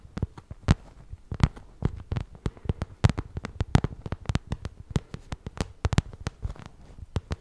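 Long nails tap and scratch the glossy surface of a small, shiny pink vinyl zippered cosmetic pouch held in both hands. About thirty quick, dry taps come in an uneven rhythm, each a soft, low thump with a crisp click on top and almost no ring. Faint scratching fills the gaps between them.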